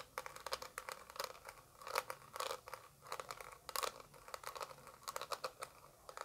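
Long acrylic nails tap quickly and irregularly on a small translucent orange plastic eyeshadow palette held close. The taps are quiet, light and clicky, centred around 1 kHz with bright crisp edges and almost no low end. Each one dies away almost instantly, with scratchy, crinkly texture between them.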